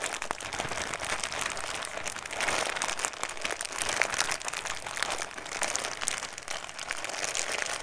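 A small clear-and-blue plastic snack bag holding loose pieces is held in both hands close to the mic and crinkled and squeezed with the fingertips. The result is a steady, dense stream of bright, crackling crinkles with light rustling of the contents, mostly in the upper range with little low end. The brief snaps swell slightly louder in places but never pause.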